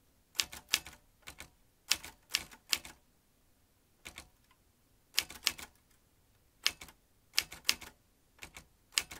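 A vintage metal manual typewriter, with metal typebars and a ribbon spool, is typed with the fingertips. About twenty sharp, bright clacks of the typebars come in quick bursts with short pauses between. Each strike is crisp and dry, with almost no low end or ring.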